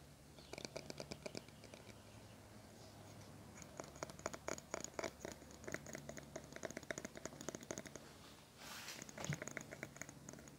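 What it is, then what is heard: Plastic hairbrush bristles being strummed. Fingernails scratch and strum the colorful plastic bristles of a small teal plastic hairbrush held up in both hands. Rapid clusters of dry, bright plastic clicks and flicks come in bursts over a faint steady low hum, with a brief softer swish near the end before the strumming resumes.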